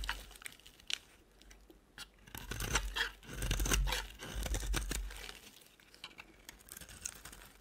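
A solid rectangular cream-colored bar of soap held in the hand has its edges scraped and shaved with a utility knife blade. Quiet, crisp scrapes and crunchy, tearing shavings come in irregular strokes, swelling into louder, denser passes in the middle before easing back to lighter scratches.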